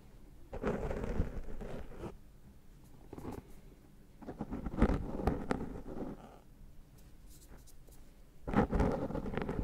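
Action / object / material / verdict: scrape / foam microphone windscreen / foam / none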